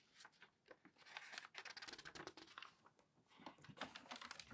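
An open newsprint newspaper lies flat on a table while hands smooth the page, then grip and bend a sheet corner to turn it. Bright, irregular crinkling and rustling fill the clip, with a soft start, a brief lull near the three-second mark, and a renewed burst of crinkles at the end.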